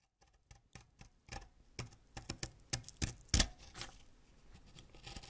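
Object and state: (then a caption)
Wax crayon being scraped. A yellow wax crayon, held upright over a pile of purple shavings, is scraped with a white ceramic knife blade, sending yellow wax curls falling off. About ten short, dry scratching strokes rasp with bright, crackly edges, rising from faint at the start to sharper, louder scrapes near the middle before easing into softer scratching.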